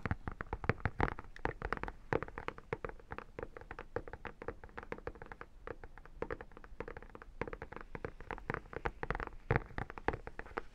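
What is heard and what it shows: Long painted nails tap and scratch across the embossed holographic cover of an iridescent textured vinyl photo album, close up. Dense, rapid, dry clicking taps sit over a soft scratching rasp, with short bursts of quicker tapping. Each tap dies away almost instantly, leaving no ring.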